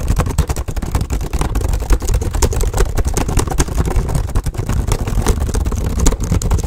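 Fast, hard typing with fingertips on a black plastic HP laptop keyboard, seen from above as both hands tap rapidly. A dense, continuous stream of quick clicks and clacks sits over a heavy low-frequency thump, with little high-end sparkle.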